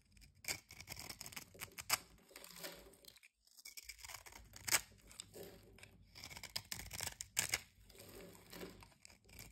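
A knife blade cuts a solid light-green bar of soap held in the palm into small cubes and scrapes away crumbs. The result is dry, crunchy cutting: bright, crisp crackles and scrapes in irregular bursts, with a brief pause partway through.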